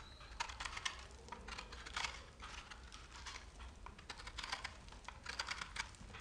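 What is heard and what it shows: A metal knife blade shaves and scratches the edge of a handheld solid bar of dry, crumbly, speckled green-pink soap. The result is a rapid run of crisp, bright, scratchy crackles and clicks over a quiet low rumble, each burst dying away almost instantly.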